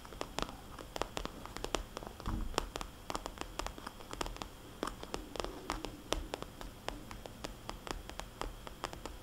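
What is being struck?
Glossy vinyl cosmetics bag.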